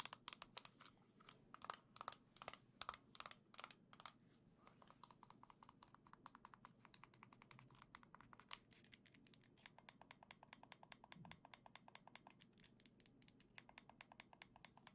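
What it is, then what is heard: Plastic game controller. A small gold and green plastic Joy-Con controller, held in one hand, is tapped with long nails. Dozens of quick, sharp, bright clicks come in uneven bursts at first, then settle into a faster, steadier patter. Each tap is dry and stops almost at once, with no ringing.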